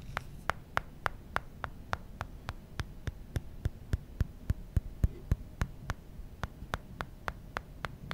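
Fingertips tap the aluminum side of a small, solid glass-and-aluminum smartphone, the original iPhone, then tap and rub its glass screen. About 28 short, dry clicks come at a fairly steady quick pace, each a brief bright tick with almost no ring. A low hum sits underneath throughout.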